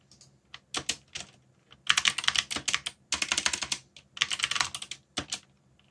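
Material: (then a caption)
Plastic. Fingertips type continuously on a backlit mechanical keyboard with plastic keycaps. Sharp, bright clacks come in quick bursts with brief pauses between them. Each keystroke dies away almost instantly, with very little low end.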